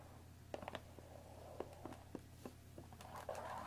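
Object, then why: Thin cardboard tea box wrapped in plastic film. Long dark-painted nails tap and scratch the top and sides of a hollow, rectangular Earl Grey tea bag box made of thin cardboard, wrapped in plastic film, holding tea bags and standing on a wooden table. About eight quiet, crisp taps ring only briefly over a steady low hum. A soft crinkly scratching rises toward the end.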